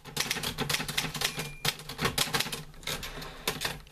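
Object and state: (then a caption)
Metal manual typewriter being typed on. Fingertips type on a green-grey metal portable manual typewriter with paper loaded while a hand works the carriage return. Quick, bright metallic clacks of the keys land in rapid, uneven bursts, each strike dying away almost at once. A few heavier strikes stand out among the steady chatter.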